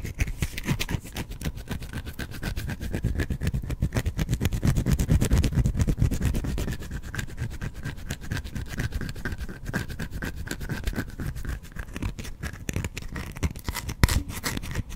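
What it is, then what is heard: Bar of soap scratched with fingernails. Fingernails scratch a solid, hand-sized white bar of soap held close to the microphone. The result is a dense, rapid stream of rough, low-heavy scraping strokes that swells in loudness around the middle. A sharper scrape stands out near the end.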